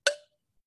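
A stone gently knocks once on a ceramic flower pot that looks smooth but is cracked, giving a short, dull clack with a brief tone around 570 Hz and bright overtones that die away within about a quarter second. The cracked pot sounds different from a sound one.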